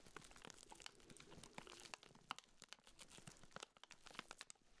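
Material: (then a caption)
Plastic film. Black-gloved fingertips squeeze and rub the clear, crinkly plastic wrap sealed around a small round pink urinal deodorizer cake. The result is a continuous stream of quiet, bright crinkling with sharp crackles and snaps that stop instantly.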